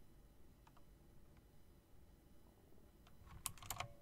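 A plastic and metal typewriter-style mechanical RGB keyboard, with round plastic keycaps set in chrome rims, is typed on first with long nails and then with fingertips. Faint, sparse ticking over a low background rumble gives way near the end to a few louder, sharp, bright clicks that cut off almost instantly.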